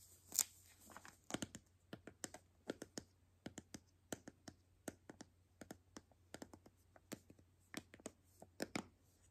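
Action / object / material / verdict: tap / hollow plastic toy capsule ball / plastic / none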